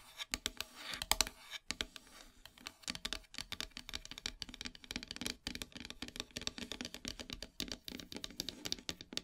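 Long silver nails tap and scratch across a flat, solid black painted wooden heart plaque. Quick, dry clicks and taps mix with bright scratching strokes. Each hit dies away at once, with almost no low end.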